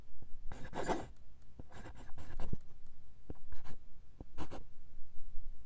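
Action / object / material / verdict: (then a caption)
scrape / steel fountain pen nib on lined paper / steel, paper / none. A steel fountain pen nib, held in the fingertips, writes cursive words in dark green ink on a single sheet of lined paper. Light, bright scratching comes in short bursts of strokes with brief pauses between them, over a faint low background rumble.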